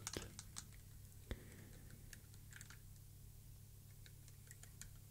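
Fingertips of both hands press and tap on a square plastic mechanical keyboard switch tester, a board with a grid of about 72 white plastic keycaps on mechanical switches resting on a dark surface. Quiet, irregular key clicks and soft taps sound out, with a few sharper clacks near the start, over a steady low hum.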